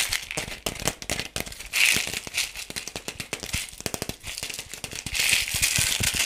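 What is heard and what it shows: Fingernails tap and scratch a hollow, palm-sized yellow plastic toy ball with pink spots, held in both hands. Quick, dry, bright clicks come in a dense, rattling stream, with louder scratchy, hissing swells around the second and fifth-to-sixth seconds. The sound is thin and high, with little low end.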